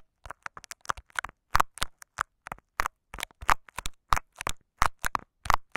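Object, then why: Clear plastic tape over a microphone. Short fingernails of both hands scratch and tap clear, crinkly scotch tape wrapped over a microphone capsule with a metal grille underneath. The result is an irregular run of sharp, close crackling taps and scratches, each dying away almost instantly. The taps have a dry midrange crinkle, a heavy low thump from the mic and brief bright edges.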